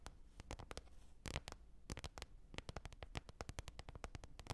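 Long red nails tap and scratch the surface of a large, flat, glossy green plastic container lid lying on fur, hollow underneath. A quiet, quick, uneven series of sharp clicking taps, each a short bright snap over a dull, hollow low thump, dies away almost instantly, with faint scratchy rustling between them.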